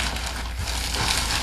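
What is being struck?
Nothing is struck.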